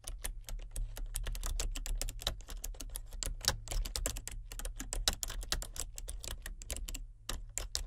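Both hands with painted nails type with their fingertips on a full-size plastic computer keyboard with color-changing backlit keys. A rapid, irregular stream of short, dry, bright key clicks and clacks plays over a steady low hum, with brief pauses between bursts.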